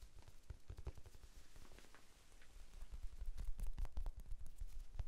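Fingertips tap quickly on a small, soft, solid rectangular pink foam sponge held in both hands. The result is a quiet, rapid, uneven patter of dull, low thuds with almost no ring, growing somewhat louder in the second half.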